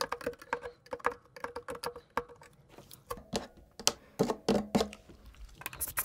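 The steel blade of a pocket knife scrapes grime from between the switches of a black plastic mechanical keyboard with its keycaps removed, exposing the switches and plate. Quick, irregular, dry clicks and ticks with a faint mid-pitched ring follow one another, then give way to louder, longer, brighter scraping bursts.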